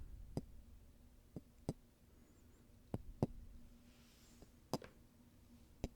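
Golf balls are tapped and handled, giving sharp, short clicks and knocks against a quiet, low background hum. Eight separate hits are heard at an uneven rhythm, each dying away almost instantly.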